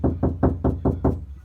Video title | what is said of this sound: Adding KilMat To My Doors Made a Big Difference | this is just plain hollow